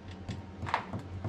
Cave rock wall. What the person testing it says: c'est solide écoute, ouais, ça me fait mal en tapotant sur les articulations